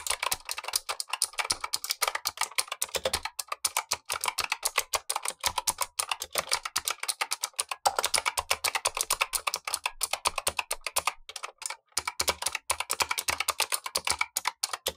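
A Razer Huntsman V2 plastic mechanical keyboard with clicky switches and black plastic keycaps, the lower of two keyboards, is typed on with blue-gloved fingertips while the upper keyboard sits untouched. About 15 seconds of rapid, dense typing follows, with crisp, bright clicks that stop short and have almost no low end.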